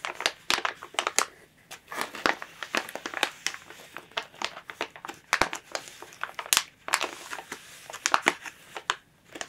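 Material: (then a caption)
Plastic. Long nails scratch, tap and crinkle a thin clear plastic bag wrapped around a plush toy lying flat. The result is a dense run of sharp, bright crinkles and clicks with no low end, each snap dying away almost instantly between brief quieter gaps.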